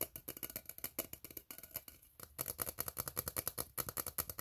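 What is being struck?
Ribbed steel tin can.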